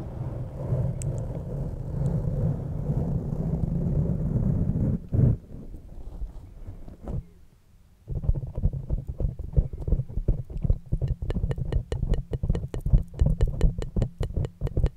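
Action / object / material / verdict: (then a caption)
scrape / foam windscreen on a microphone / foam / none. Long, dark-painted fingernails and fingertips of both hands scratch and rub a soft, porous black foam windscreen covering a large silver USB microphone. A steady, deep rumbling rub fills the first five seconds, then softer scraping and a brief near-silence. Quick, irregular scratching strokes follow through to the end.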